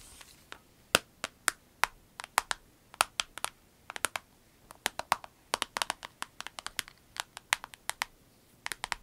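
A small, flat, clear orange vinyl pencil case with orange piping and pens inside lies on a dark surface while long nails tap and scratch across its face. Forty short, dry, bright clicks and ticks come in an irregular patter, each dying out almost instantly over a faint background hiss.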